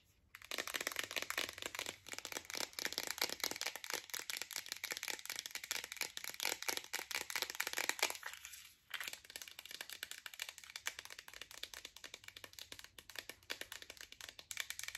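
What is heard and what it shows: Long acrylic nails rapidly tap and scratch a green plastic Spring Valley iron pill bottle with a yellow cap and label and pills inside. The result is a dense, bright stream of crisp clicks and crinkly scrapes with almost no low end. The sound pauses briefly near the middle, then resumes at a slightly softer level.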